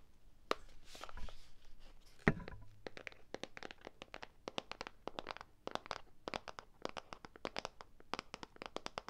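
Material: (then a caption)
Plastic, sand. A small rectangular clear plastic tub with a pink label, filled with play sand, is handled in one hand close up. The result is a quiet, steady run of short, crisp clicks and taps with faint gritty crinkling between them, plus a louder low thump just after two seconds.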